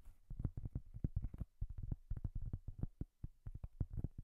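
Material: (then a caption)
Cork. Long, dark-painted nails quickly tap and scratch the surface of a large, flat, round, solid cork coaster held in both hands. The result is a fast, uneven run of soft, dull, low thuds that stop almost instantly, with no bright edge.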